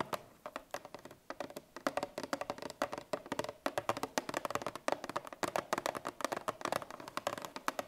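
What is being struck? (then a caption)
Coated cardboard milk carton. Long painted nails on both hands tap and scratch a 1-litre Parmalat milk carton of coated cardboard in the Tetra Pak style, lying flat on a wooden table with its fill unknown. A rapid, uneven stream of short, dry clicks and scratches follows, with a hollow midrange tone and a bright edge, each tap dying away almost at once.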